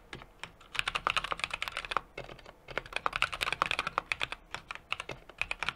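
Steady fingertip typing with both hands on a 60% mechanical keyboard with an aluminum case, brass plate and plastic keycaps. It produces a rapid run of crisp, bright keystroke clacks with very little low end, each dying away almost instantly. There are brief pauses around the two- and five-second marks.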